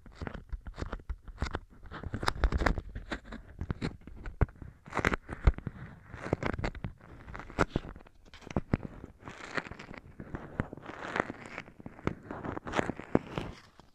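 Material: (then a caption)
Waxed cotton. A thin, honeycomb-print beeswax-coated cotton food wrap, a single soft sheet held in both hands, is flexed, flattened and folded with the fingertips and nails. The waxed fabric gives off a steady run of stiff, dry crinkles and sharp crackles with short, irregular bursts and no ringing.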